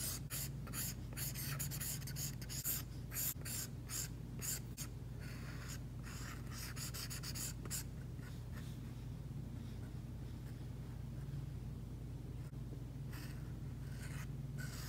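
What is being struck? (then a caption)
Plastic stylus tip on a tablet screen with matte plastic film. An Apple Pencil's plastic tip is dragged in drawing strokes across an iPad's glass screen, which is covered with a Paperlike matte plastic protector and lies flat on a surface. Short, dry, pen-like scratches and light taps come in dense bursts during the first eight seconds. The strokes then thin into softer, sparser rubbing over a steady low hum.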